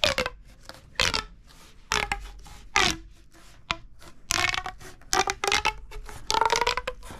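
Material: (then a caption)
Plastic. A hollow red corrugated plastic pop tube is bent and compressed by the fingertips, making bursts of bright, crackling rib clicks and pops. Some bursts carry a short tonal whistle around 600 Hz, with quiet gaps between them.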